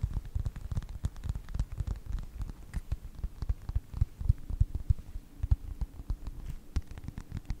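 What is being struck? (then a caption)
Faux leather wallet. Fingertips tap and scratch the cover of a closed yellow faux leather wallet with a snap strap. The result is a quick, uneven run of soft, dull taps and scratchy rustles, almost entirely low-pitched and very short, with no ring.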